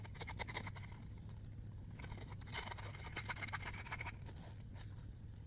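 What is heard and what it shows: A small, soft, round yellow smiley-face foam scrub sponge is quickly squeezed and scratched with fingertips and nails. The result is a run of fast, dry, scratchy rustles and bright crackling bursts over a steady low hum.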